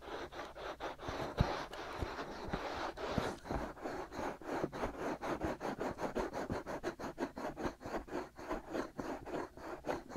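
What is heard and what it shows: Fingertips and short nails scratch both silicone ear molds of a binaural microphone. The result is a close, rhythmic run of rapid, dry scratching strokes, with broadband rasp over a low thumping body and occasional louder bumps early on. The scratching carries on steadily, stroke after stroke, throughout.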